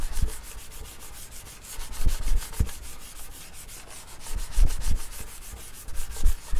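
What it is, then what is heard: Wood-grain desk top being scratched. Fingertips scratch and rub the flat top of a wood-grain school desk, a large solid panel. A quick, uneven run of bright, scratchy strokes continues throughout, with a few soft low thumps where the hand presses against the surface.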